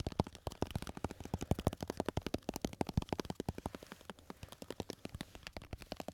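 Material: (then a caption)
Glass. A small lidded glass jar full of red and yellow candies is held up and tapped quickly with fingertips and nails. About forty rapid, dry taps each combine a soft low knock with a brief bright click and almost no ring. The taps run in an uneven, fast rhythm throughout.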